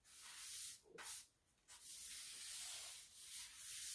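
A pink broom with dark plastic bristles sweeps along large beige ceramic bathroom floor tiles near a cabinet and wall. The strokes make a bright, airy hiss and scratch that is mostly high-pitched with almost no low end. Three sweeping bursts are separated by brief lulls, the last one long and steady.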